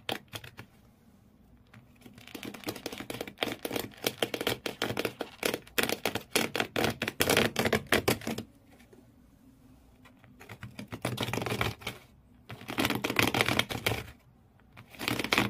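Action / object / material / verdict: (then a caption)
scrape / corrugated cardboard shoe box / cardboard / none. Fingernails on clawed hands scratch hard at the corrugated cardboard floor inside an empty shoe box. Rapid, dry, bright scratching comes in long, irregular bursts separated by short quiet pauses, with each stroke stopping sharply with no ring.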